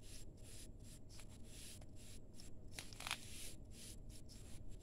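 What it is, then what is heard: Damp sand-cement mix being crumbled. Bare hands squeeze and crumble a heap of crumbly grey damp sand-cement mix in a steel bowl. The result is a quiet, gritty crackling and rustling, with soft bright bursts of grain over a steady low hum.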